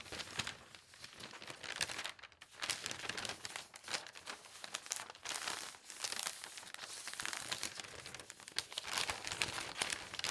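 Fingertips with long painted nails turn, smooth and rub large, thin newspaper sheets lying flat and empty on a table. The result is a steady, bright crinkling and rustling of paper, with quick crackly textures, almost no low end, and brief quieter gaps around 2 and 6 seconds.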